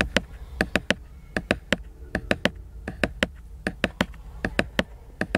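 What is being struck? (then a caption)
Glossy laminated hardcover book cover. Fingertips and short nails tap and scratch the glossy laminated cover of a large, colorful, solid hardcover book lying flat in a car. About 21 sharp, dry taps come in uneven clusters of two or three, each with a bright click and almost no ring. A faint scratchy texture fills the gaps between them.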